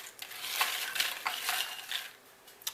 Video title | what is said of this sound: Vinnie's Vittles Potato Chip Maker | Listen how crispy they are.